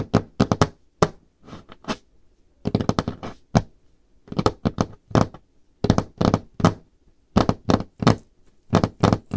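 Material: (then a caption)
Wood. Long painted nails tap and knock on a solid varnished wooden tabletop, with some light scraping. Quick clusters of short, dull, low thunks die away almost instantly. They come in irregular bursts separated by brief quiet gaps.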